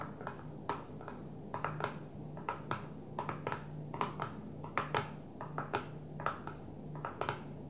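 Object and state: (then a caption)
Plastic container lid tapped with nails. Long fingernails on one hand tap a flat blue plastic container lid resting on a table. The result is an irregular run of quick, dry, clicky taps with a mid-pitched tick that dies away almost instantly, over a faint steady low hum.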